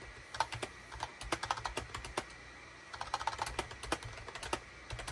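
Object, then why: Plastic computer keyboard. A full-size SHIPADOO K600 wired USB keyboard, with a hollow gray plastic case and cream, gray and orange plastic keycaps, sits on a desk mat and is typed on rapidly with the fingertips of both hands. Quick, bright plastic key clicks come in two bursts separated by a short pause near the middle, each click dying away almost instantly.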